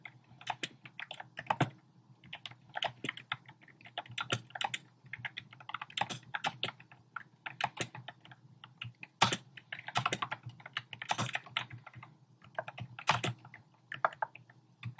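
Fingertips with short painted nails type rapidly on a compact keyboard with a black plastic frame and round pink, orange and cream plastic keycaps, resting on a desk. The clip is a steady stream of short, clicky key taps with a bright clatter and a soft low thud beneath, in quick bursts with brief pauses between them.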